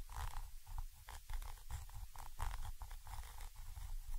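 A thin orange stick scratches the top of a Zoom H5 XY microphone capsule, a small chrome metal body with mesh grilles. Repeated short scratching strokes come through as heavy, low rumbling thumps with faint brighter scraping on top, captured very close up.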